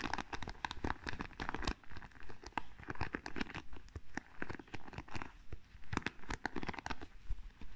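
Long nails scratch and flick across the wooden pins of a small wooden paddle hairbrush, making quick, dry, crackly scrapes and clicks in irregular bursts. The taps have a soft, dull thump underneath and die away almost instantly.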